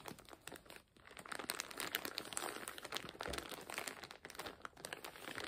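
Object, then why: Plastic zip-lock bag with fabric inside. A full, clear plastic zip-lock bag holding colorful fabric is lifted, squeezed and crinkled with the fingers. It makes dense, bright crinkling and crackling that runs almost continuously, with a brief quiet dip just before the first second.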